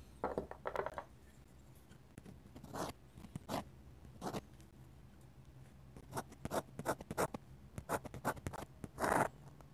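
A steel dip pen nib scratches hatching and line strokes across a flat paper sketchbook page. The strokes come as short, dry bursts of scratchy noise, centered in the mid range with faint high edges, separated by quiet pauses, with a longer, louder stroke near the end.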